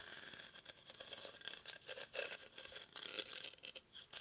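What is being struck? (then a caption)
Woven rattan basket. Short fingernails scratch the weave of a hollow, cylindrical woven rattan/reed basket held in both hands. The result is a quick series of dry, bright, rustling scratches with almost no low end, each burst fading fast into a soft crackle.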